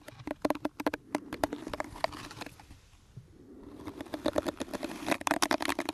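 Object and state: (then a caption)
Plastic hairbrush bristles being scratched. Fingertips and nails scratch and rub across the bristles of a small pink plastic detangling hairbrush held close to the microphone. A rapid series of crisp, bright ticks and scrapes fades into a softer, quieter rub around the middle, then builds back into dense, brisk scratching toward the end.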